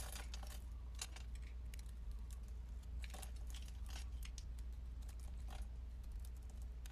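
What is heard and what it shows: A metal blade chips small cubes off a solid white soap bar held in the hand, producing crisp, bright crackling snaps and scrapes in quick succession. The cuts sit over a steady low hum at an even, quiet level throughout.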